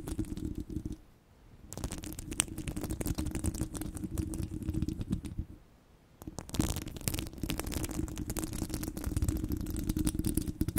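Long glossy blue coffin nails scratch and tap across a large, hollow, domed steel wire-mesh microphone head. The result is a dense, crackly stream of scratches and taps with a deep, rumbling low body and faint bright edges. It pauses briefly twice, near 1 second and near 6 seconds.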